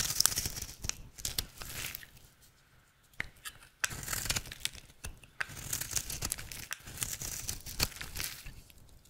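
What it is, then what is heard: Bar of soap being carved. A utility knife blade carves flakes off a rectangular, solid, dry red soap bar held in the hand, making bright, crisp scraping and crackling cuts. The crunchy flaking comes in dense bursts with a quieter stretch partway through before the cutting resumes.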